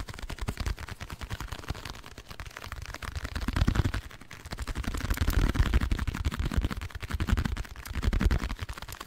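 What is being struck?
Printed cardboard box.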